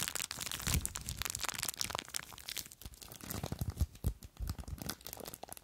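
Long nails scratch and crinkle a small clear plastic bag full of blue foam beads, held close. A dense, continuous run of bright crinkles and crackling scratches is heard, with soft low thumps as the beads shift, before it tapers off quieter toward the end.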